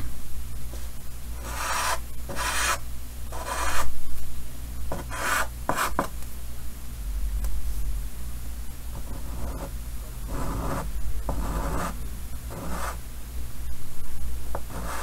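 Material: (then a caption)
Chalk. Fingers hold white chalk and draw lines on the upper right of a large, solid painted chalkboard set in a green wooden frame. The chalk scratches and rubs across the board in short, raspy strokes that are separated by brief pauses. Under the strokes there is a steady low hum.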